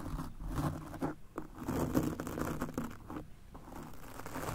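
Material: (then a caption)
Foam. A golf club cleaner brush with stiff bristles is scrubbed back and forth across a soft, porous black foam microphone windscreen. The result is a dense, muffled scratching and crinkling texture, heavy in the low end. It comes in rough bursts with brief dips between strokes.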